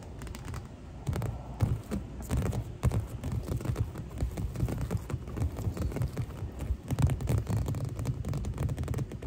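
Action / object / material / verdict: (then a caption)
scrape / inflatable vinyl pool mattress / vinyl / none. Two hands with long nails tap and scratch the surface of a clear and green inflatable vinyl pool lounger, hollow and air-filled, up close. A dense run of soft, low, hollow thumps mixes with scratchy rustling, steady and uneven without pause.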